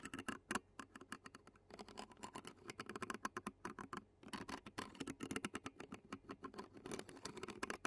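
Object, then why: Metal mesh microphone grille, plastic fork. Clear plastic fork tines scratch along the black metal mesh microphone grille of a handheld Zoom recorder. The result is a dense run of quick, dry scratches and ticks with a bright, raspy edge and a brief pause just before the midpoint.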